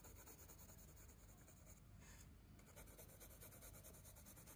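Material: Paper.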